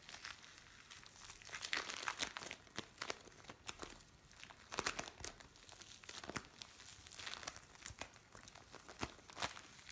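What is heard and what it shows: Hands press, stretch and squeeze a lump of blue bead play foam. It makes quiet, dense crinkling and crackling with many sharp, bright clicks, swelling in a few louder bursts and with almost no low end.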